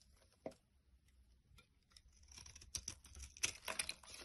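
A utility knife blade scrapes a solid tan bar of laundry soap held in the hand over a pile of soap crumbs. Quiet, bright scratchy scrapes and crumbly crackles start sparse, then grow denser and louder toward the end, each stroke stopping short with no ring.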